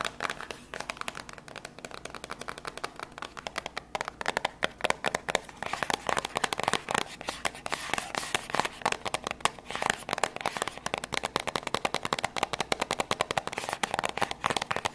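A small, white, printed cardboard box for a PM10 lavalier microphone, hollow with the microphone inside, is held close and tapped fast with long grey acrylic nails. The result is a steady, rapid stream of dry, bright clicks that stop almost instantly, with almost no low end.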